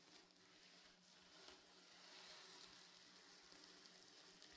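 A soft, stuffed reversible sequin pillow is rubbed and scratched diagonally by fingers and nails, flipping the sequins from blue to silver. The result is a steady, bright, crackly rustle with a sizzling texture. It holds fairly even throughout and grows slightly louder in the second half.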